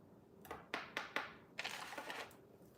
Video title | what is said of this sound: WE ARE BACK FOR COFFEE TALK!!! SEPTEMBER 21, 2025 | yes, I would say it's glass. Sounds like glass.